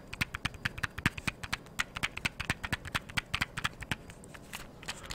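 A small, hollow blue cardboard matchbox, held in one hand, is tapped and scratched with long yellow-painted nails. The result is a quick, steady series of sharp, dry clicks and light scratches, each dying away almost instantly.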